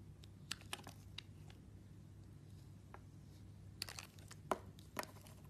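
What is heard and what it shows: A metal blade carves and shaves the embossed top layer off a pink oval solid bar of soap held in the hand. Sharp, crisp scraping cuts come in irregular bursts, bright and quickly cut off, with quiet stretches between them over a low, steady hum.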